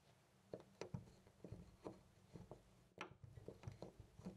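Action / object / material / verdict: shake / metal door knob / brass / none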